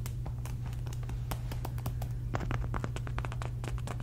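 A medium polka-dot fabric cosmetic pouch, soft and hollow, is held up and scratched across its surface with long red nails. Quick, dry scratching strokes repeat over a steady low hum.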